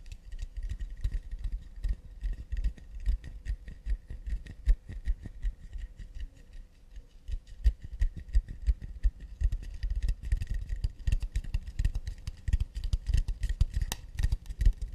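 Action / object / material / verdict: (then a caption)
tap / acacia wood plate / wood / none. Long nude-polished nails tap quickly and delicately on the flat underside of an empty, round, hollow acacia wooden plate held upside down. The steady, dense patter of short, dry ticks has a dull hollow knock and a faint woody ring. The tapping grows louder and busier in the second half.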